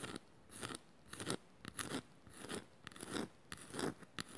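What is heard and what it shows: A small, shallow, hollow woven bamboo or wood bowl, held in the hands, is scratched with long matte nails across its woven strips. The strokes come as a loose series of dry, crunchy, rasping bursts, each bright and broadband, with a woody body in the low-mids. Short quiet gaps separate the bursts, and there is almost no ring after each one.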